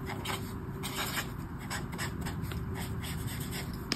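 A brush marker tip scrapes and rubs over a flat paper colouring book page in colouring strokes. Soft, scratchy bright swishes repeat over a steady low rumble, with one sharper tick near the end.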